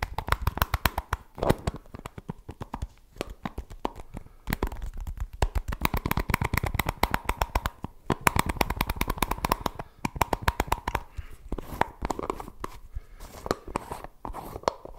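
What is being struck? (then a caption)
Plastic jar with plastic lid. A plastic Suavecito pomade tub with a white plastic lid is held in both hands while fingertips tap and scratch the lid and sides. Rapid, dense runs of short, dry clicking taps mix with scratchy rustling, with a hollow plastic tone around 1 kHz and a soft low thump under each tap. Brief pauses break up the tapping.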